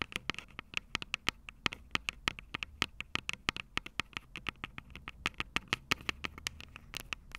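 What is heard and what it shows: Long purple acrylic nails tap rapidly and irregularly on the two metal-grilled microphone capsules of a Tascam DR-05 handheld recorder with a plastic body. Each tap is a sharp, bright click with a ringing tone around 2.5 kHz that dies away almost instantly. A faint low rumble sits underneath the taps.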